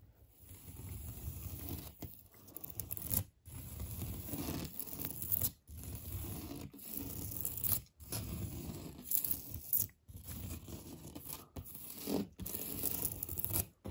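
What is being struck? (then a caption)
Textured painted drywall wall. Medium-length painted fingernails scratch across a large, flat, solid interior drywall wall with a raised knockdown texture painted beige. The sound is a dense, rough, tearing scrape, heavy in the low end, coming in long strokes separated by brief silent pauses.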